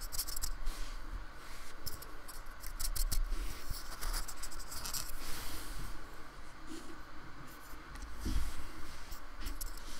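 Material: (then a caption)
Polystyrene foam. A fingertip-held metal painting tool dabs, scratches and rubs in short strokes on a small solid square of polystyrene foam with a rough, painted surface, lying on a wooden table. Dry, scratchy scraping and crackling runs throughout, broken by brief bright ticks over a low, dull rumble.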